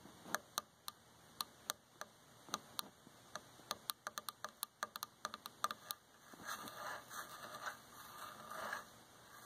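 About 24 sharp, dry taps from long fingernails on a dark varnished solid wooden chair arm ring out quickly over the first six seconds. The fingernails then scratch along the armrest, making a continuous, rough, bright rasping texture until the end.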